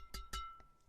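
A freshly restrung Kawasaki Steel Rebar 138 badminton racket, strung with VBS-66 Nano string at 25 lb mains and 27 lb crosses with four knots, is tapped on the strings, giving two sharp taps and then a fainter third. Each tap gives a clear, bright ping with a steady tone around 1.3 kHz that rings briefly. The crisp, steel-like ping shows a tight new string bed.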